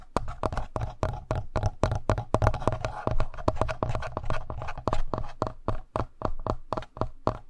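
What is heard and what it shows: Fingertips and short nails tap and scratch the front face of a handheld black plastic Tascam audio recorder, a hollow electronic device. Dozens of quick, dry taps land in a steady stream, each a hollow low thump with a short mid-pitched click. The sound dies almost instantly, with faint scratching between the taps.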